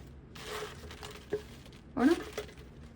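Fried spinach fritters are broken apart to show their crunch, giving sharp, dry crackling and snapping bursts, with the loudest crack near the end. The fritters are very crispy.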